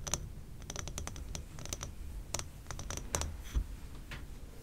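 Long painted nails tap rapidly on the glass walls of a large, labeled amber glass jar candle that is full of wax and burning, with both hands gripping its sides. The taps are quick, dry, bright clicks with almost no ring, scattered over a soft low rumble.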